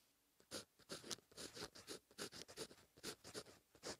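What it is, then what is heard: Ballpoint pen writing on paper. A fine-tipped plastic ballpoint pen writes Korean cursive on a thin lined page of a paperback notebook lying flat on a surface, its tip on the paper throughout. About fifteen short, quiet, bright scratching strokes come in uneven bursts, each rasping with a high hiss and ending abruptly.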